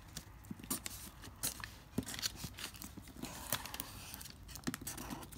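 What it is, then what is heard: Crumpled lined notebook paper. A pink felt-tip marker draws strokes continuously across a sheet of wrinkled, thin, lined notebook paper resting on a marble-pattern board, while fingertips hold the sheet in place. The result is a steady, soft scratching texture broken by sharp, bright ticks and crinkles from the crumpled paper.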